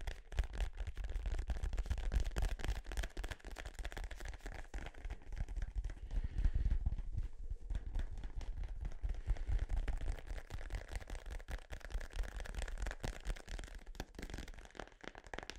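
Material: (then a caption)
Synthetic leather. Fingertips tap rapidly and irregularly on a small blue synthetic-leather soccer ball, hollow and inflated, held close to the microphone. Each tap is a short, dull, low thump with almost no ring, and the taps run on continuously for the whole clip.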